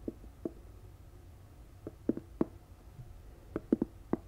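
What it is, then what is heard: Fabric-covered box. A medium rectangular storage box covered in floral-print fabric, hollow with a lid and sitting beside the microphone, is scratched and tapped with long acrylic nails on the lid and sides, and is lifted and turned toward the mic at the end. Ten short, dull, muted taps with a low-mid body are heard in irregular clusters over a faint, steady hiss. Each tap dies away almost instantly.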